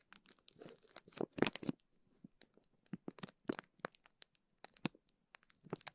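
Fingertips squeeze, rub and crinkle a clear plastic zip bag full of teal gel beads. The result is a series of sharp, dry crackles and crinkles with short bright bursts separated by brief silences, and no speech.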